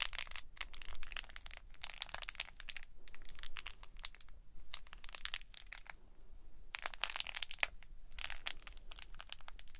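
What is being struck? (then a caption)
Plastic lattice stress ball. A small green plastic lattice stress ball with a purple squishy core is squeezed and rolled between the palms while long nails touch the lattice. It makes dense bursts of bright, crinkly crackling and clicking that come and go in clusters over a soft low rumble.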